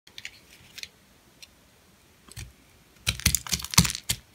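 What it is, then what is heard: Dry, hard bar soap. A metal blade shaves and scrapes thin flakes off a purple, hand-sized, solid, dry bar of soap with a bubble pattern, held in the palm. After a few faint, sparse scrapes, a cluster of louder, crisp, bright scraping cracks follows, each short and dry with almost no ring.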